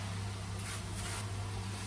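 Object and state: Nothing is struck.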